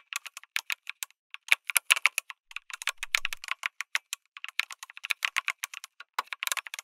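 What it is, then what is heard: Mechanical keyboard with aluminium case and plastic keycaps. Fingertips type on a lit mechanical keyboard with an aluminum case and plastic keycaps. A steady stream of short, bright, clacky keystrokes comes in uneven bursts, with one denser flurry near the middle. Each click stops almost instantly with no ring and almost no low end.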